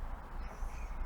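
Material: Nothing is struck.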